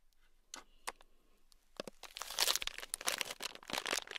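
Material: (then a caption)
Plastic. A small sealed clear plastic bag packed full of tiny red beads is squeezed and crinkled with the fingertips. A few soft, isolated crackles come first, then build into dense, bright crinkling and crunching that peaks near the middle and continues unevenly to the end. The sound is crisp and high-pitched, with almost no low end.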